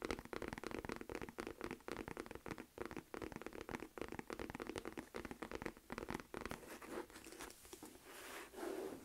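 Long nails tap and scratch the back and flap of a medium, hollow beige smooth leather Michael Kors flap clutch purse. The result is a rapid, dense run of dry scratching and tapping with a crinkly, crunchy texture, brief swells of brighter scraping, and a louder burst near the end.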